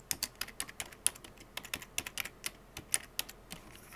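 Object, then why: Plastic computer keyboard keys. Fingertips with painted nails type rapidly on the hollow keycaps of a full-size black plastic computer keyboard. About 23 sharp, bright clicks and clacks come in quick irregular bursts, each dying away almost instantly, with little low-end weight.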